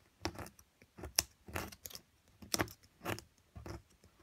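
A hand with long nails holds a solid plaster excavation block while a metal chisel scrapes and chips at it. Short, dry, gritty scraping bursts come in a steady series with quiet gaps between them. The sound is bright and crackly with almost no ring.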